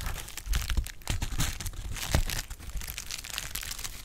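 A clear plastic bubble wrap sheet has its bubbles popped with fingers. Quick sharp pops and snaps stand out over steady crinkling, with a low thump under each louder pop and a bright crackle on top. The pops die away almost at once.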